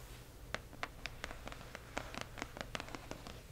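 A single nail and fingertips rub and scratch across a hollow cardboard box printed with "Accio!", with some tapping along its lower edge. Fifteen short, dry, bright clicks and taps stand out over a soft continuous scratching and a steady low hum, each dying away almost instantly.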